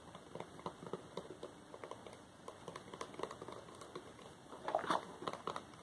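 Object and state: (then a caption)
Cardboard product box. Fingertips scratch and tap across the printed sides of a small, glossy paperboard Wowax depilatory hard wax box with its contents inside. About two dozen quiet, dry taps and papery scratches sound in quick succession, each ending almost at once. A slightly louder cluster of taps comes near the end.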